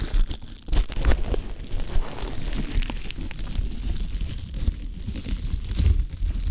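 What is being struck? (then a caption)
Thin plastic cling film. Fingertips crinkle and rub thin, clear plastic cling wrap wrapped around an ear-shaped binaural microphone. A steady stream of dense, close crackling and soft rustling follows, with brief sharper crinkles standing out over a low, muffled rumble of handling.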